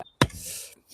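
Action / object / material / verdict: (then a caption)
strike / packed soil of a dirt jump / soil / soft. The packed soil of a dirt jump is struck twice, giving two dull, low thuds with a faint hiss between them rather than a sharp slap. The dull sound marks it as soft soil with too much compost and not enough clay and sand.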